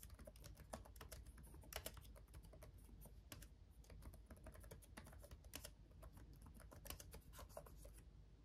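Both hands type fast with their fingertips on a black laptop keyboard with RGB-backlit plastic keys. A quiet, rapid run of crisp, bright plastic key taps dies out almost at once, over a steady low hum. The typing goes on without a break for the whole clip.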